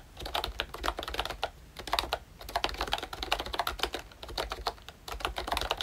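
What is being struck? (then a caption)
Plastic membrane keyboard. Fingertips type continuously on a pink and brown plastic ROYCHE Disney Mickey Mouse retro membrane keyboard. The result is a steady stream of short, dry, bright plastic clicks in uneven bursts, with brief pauses between runs.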